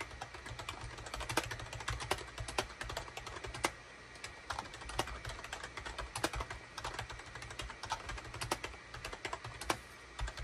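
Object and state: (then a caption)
Plastic computer keyboard being typed on. A full-size gray SHIPADOO K600 wired USB keyboard, with a hollow plastic case and cream, gray and orange plastic keycaps, sits on a desk mat and is typed on rapidly with the fingertips of both hands. Its sharp, bright plastic key clicks and clacks come in quick, uneven bursts over a steady low hum, with a brief pause near the four-second mark.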